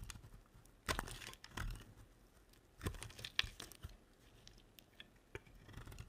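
A red-handled blade scrapes crisp shavings off the surface of a solid, dry green soap bar held in one hand. Dry, crackling scrapes and tearing crunches come in short bursts, bright and hissy, with a soft low thump under the louder strokes and quiet pauses between them.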